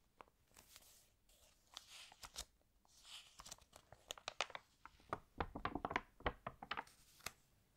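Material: Paper.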